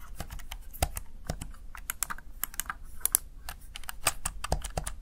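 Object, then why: Plastic gaming keypad. Fingertips press the keys of a plastic, backlit Razer Tartarus Chroma gaming keypad in a rapid, uneven stream. Each press is a short, dry click with a bright top edge and a soft low thud underneath, dying away almost instantly. The taps run close together, with a few sharper, louder strikes standing out from the steady patter.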